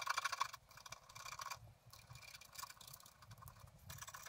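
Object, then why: Black-coated scratch art paper card. A pointed wooden stylus scratches across the upper blossoms of a flat, black-coated scratch art card lying on a table. Quiet, dry scratching strokes come in quick bursts with a bright, hissy edge and a faint tone near 1 kHz, loudest at the start before settling into softer, steady scraping.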